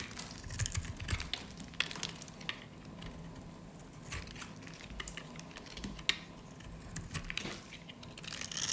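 A metal utility blade cuts and scrapes pieces off the edge and face of a solid, light-green, rounded bar of dry soap held in the hands. Dry, crisp crunching and scratchy scraping come in quick clusters of short, bright clicks over a faint low rumble.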